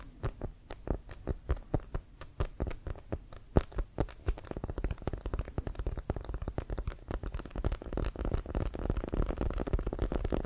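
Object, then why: Inflated composite leather American football. A full-size, inflated, hollow brown pebbled composite-leather American football with a white stripe is held upright and tapped with fingertips and nails. It gives dull, low, hollow thumps with quick clicky edges that die away almost instantly. The taps start as distinct spaced beats, then speed up into a dense, continuous drumming patter.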